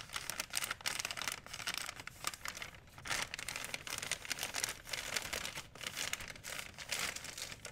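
A large, thin, empty white plastic Blick art supply bag is held up, crinkled, folded and stretched with fingertips and long painted nails. The result is dense, bright, crackly crinkling that swells and eases in quick bursts, with almost no low end.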